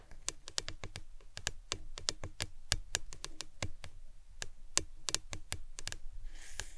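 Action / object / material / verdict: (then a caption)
tap / plastic tumbler cup with lid / plastic / none. Long acrylic nails tap about 28 times on a tall, hollow, seemingly empty printed plastic lemonade tumbler with a green plastic lid, held upright on a towel. Each tap is a crisp, bright click with a soft low thud underneath and almost no ring, coming in an irregular, gentle rhythm. A faint airy rustle rises near the end.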